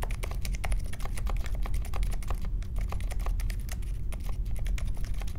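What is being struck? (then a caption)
Mechanical keyboard with metal case and plastic keycaps. A compact Polaris mechanical keyboard with a metal case, plastic keycaps and Silent Alpaca switches sits on a marble desk while fingertips type steadily across its keys. Rapid, muted keystrokes form a continuous patter of soft clicks over a low, deep thump.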